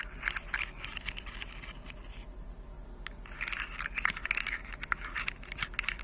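Long decorated acrylic nails scratch, tap and click along the hollow jointed segments of a hand-sized rainbow segmented plastic fidget slug toy. The result is a steady run of dry, bright scratching with crisp, quick-decaying clicks, pausing briefly near the middle before growing busier and louder toward the end, over a faint low hum.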